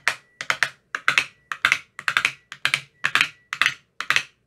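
A thin metal rod with a white rounded tip taps inside the hollow cells of an empty, translucent frosted plastic ice cube tray with 15 compartments. Twenty-two short, dry, bright clicks fall in quick clusters of two or three and die away almost at once. A faint thin tone near 2 kHz hangs between some of the clusters.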